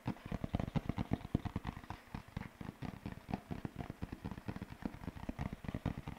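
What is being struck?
Large sheet of thin paper.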